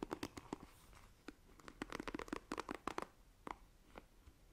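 Long nails scratch and tap the bristles of a black plastic paddle hairbrush, producing about seventeen quick, dry clicks and scratchy crackles. The sound is quiet and close, with bright, brittle ticks centered in the midrange and no ring after each hit.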